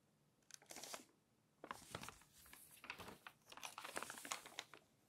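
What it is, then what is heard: Glossy magazine pages being turned. Thin, glossy magazine pages are pinched and flipped by hand and slid against each other. Crisp, bright crinkling and papery rustles come in three bursts, separated by quiet pauses. The longest and busiest burst comes at the end before it fades out.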